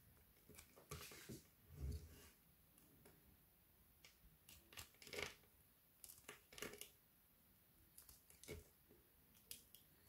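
A solid white frozen soap bar held in the hand is scraped and scratched with a red-handled knife blade, chipping off crumbly shavings. Quiet, irregular bursts of dry, crackly scraping with bright edges are heard, with a louder low thud near the two-second mark, and each stroke stops short with almost no ring.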